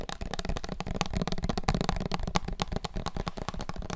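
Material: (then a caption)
Plastic. Fingertips and nails tap rapidly all over a small clear plastic syrup bottle with a paper label and a red plastic flip-top cap, held in both hands and filled with dark liquid. The result is a dense, continuous patter of short, dry clicks and taps with a low, hollow body and a little brighter edge.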